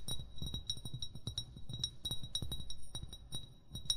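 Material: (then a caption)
Glass. An upright, hollow amber glass wine bottle is tapped rapidly with short fingernails and fingertips. The taps produce a steady run of soft, low thuds, each topped with a short, high, bright glassy ring that fades quickly.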